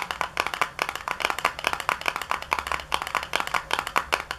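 Long nails tap the flat side of a small, hollow, white printed cardboard product box with a barcode as it lies on a countertop. A fast, steady run of crisp, dry, hollow clicks centers around 1 kHz, with almost no low end. Each tap dies away almost instantly.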